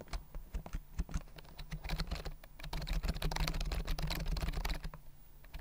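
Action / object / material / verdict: tap / plastic compact keyboard with round keys / plastic / none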